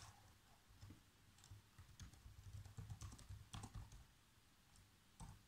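Fingertips with short nails type fast across the keys of a black plastic chiclet laptop keyboard. The result is a quiet, irregular patter of soft taps: mostly low, dull thuds with brief, bright clicks on the stronger strokes, each dying away almost instantly.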